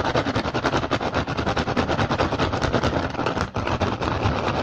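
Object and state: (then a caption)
Rattan basket. Fast, aggressive tapping and scratching on a woven rattan basket. It makes a dense, continuous run of quick, dry clicks and rasping scrapes across a broad range, with only a brief drop in level around the three-and-a-half-second mark.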